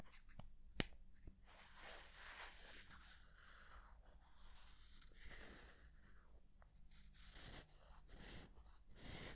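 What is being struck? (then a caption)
Two small light-wood blocks. Two small, solid light-wood blocks are held beside a dummy head's ear and rubbed and scraped against each other with fingertips. The result is a soft, breathy scraping hiss that swells and fades, broken by a few sharp, dry clicks over a steady low hum.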